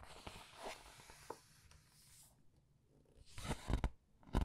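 Red-nailed fingertips rub the glossy illustrated paper pages of a large open paperback art book, making a soft, bright, papery swishing over a low rumble. After a quiet pause, the pages are turned with louder crisp rustles and crackles near the end.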